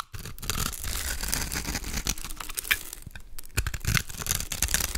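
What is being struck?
Bar of soap carved with a knife blade.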